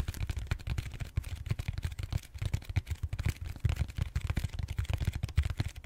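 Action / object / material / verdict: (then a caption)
tap / foam roller / foam / none. Fingertips tap and scratch the surface of a large purple solid styrofoam foam roller held horizontally. The result is a steady stream of quick, dull, muffled thumps, heavy in the low end and dying away almost instantly, with faint scratchy texture between them.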